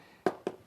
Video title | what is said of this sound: Tips on Inspecting Stucco and EIFS During a Home Inspection | that sounds much more solid, firm? That's a hard coat system.